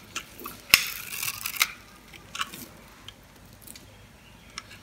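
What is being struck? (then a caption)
Scored bar of soap cut with a blade. A blade scrapes and crunches small cubes off the surface of a solid red bar of soap, pre-scored into a grid and held in the hand. Sharp, dry, bright crunches and brief scraping sounds come at uneven intervals, with a louder crackling stretch near the start and soft ticks in between. Each crunch dies out almost instantly, with little low-end weight.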